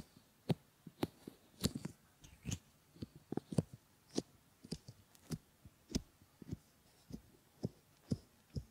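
Fingertips stroke and rub over a pair of solid silicone ear models and their pads, producing a quiet series of soft, muffled rubbing thumps. The bursts are short and irregularly spaced, mostly low in tone, with faint bright scratchy edges over a near-silent background.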